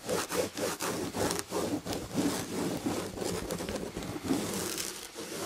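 Long red-painted nails on both hands scratch rapidly at the damask chenille upholstery of a fabric chair back. This makes a dense, continuous scratchy rasp with bright hiss and quick rhythmic strokes that swell and dip without pause.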